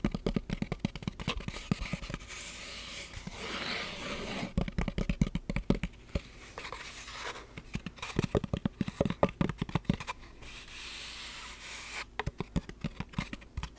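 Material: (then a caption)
Rubber-coated plastic. Long black nails and fingertips rub and scratch a closed, hollow blue rubber-coated hard-shell glasses case. Quick, dry clicking taps and scrapes come in dense bursts, separated by softer stretches of steady rubbing hiss. Each hit is short and barely rings.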